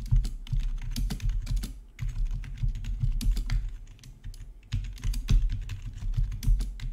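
Both hands type quickly with their fingertips on a full-size black plastic RGB membrane gaming keyboard with rainbow backlit keycaps, resting on a marble surface. The result is a rapid stream of soft, dull, low-pitched key presses with short bright clicks, coming in dense bursts with brief lulls near two seconds and again around four and a half seconds.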